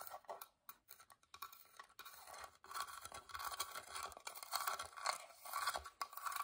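Long dark-painted nails scratch and tap along the carved floral openwork lid and edges of a small, hollow, whitewashed wooden box held in the hand. The result is a quiet, irregular stream of dry, raspy scratches and light, quick-decaying taps, centered in the mid range with a bright, hissy top and almost no low end.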